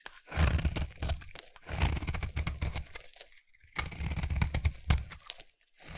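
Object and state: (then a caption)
Bar soap being carved. A utility knife blade is scraped along the edge of a solid rectangular cream bar soap held in the hand. Crunchy, crumbly scraping comes in three bursts, heavy in low thuddy tones with a bright crackle on top. Short pauses separate the passes.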